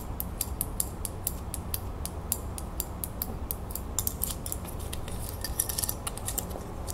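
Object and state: Small metal crown ornament.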